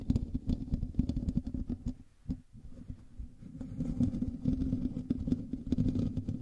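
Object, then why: Metal mesh microphone grille. Fingertips and nails from both hands scratch across the hollow metal mesh grille of a black USB microphone. The result is a dense, close, muffled rasping and rubbing, heavy in low rumble with rapid scratchy strokes. It briefly quiets around the middle before building back up.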